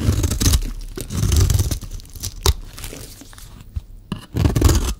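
A solid rectangular bar of dry green soap, held in one hand, is shaved and scraped with a metal utility-knife blade, and the shavings pile up below. The sound is a series of dry, crunchy tearing scrapes in uneven bursts, with a heavy low rumble under bright, crisp strands and short quiet gaps between strokes.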